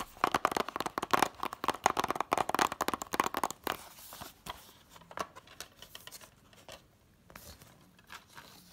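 Fingertips and long nails tap and scratch on *The Incredibles* 2-disc DVD set, a small, flat, hollow case in a red printed cardboard slipcover, first on the back and then on the front. For the first few seconds, rapid, dense tapping produces crisp, dry clicks with a hollow mid-range tone. It then thins out into quieter, sparser taps and soft scratching, and each sound dies away almost instantly.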